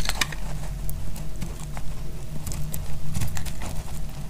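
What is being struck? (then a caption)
Glycerin soap bar. A solid, translucent blue bar of dried glycerin soap, held in the hand, is shaved with a metal utility blade. Crisp, dry scraping crackles and sharp bright ticks come in quick bursts over a steady low rumble, each click cutting off almost at once.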